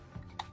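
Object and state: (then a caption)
Solid (not hollow) figurine. A Kabuto collectible figurine made of resin or plastic is tapped to check whether it is solid inside. After a soft low bump, a single short, sharp knock with a mid-pitched tone dies away almost at once. It sounds solid rather than hollow: the figurine is full.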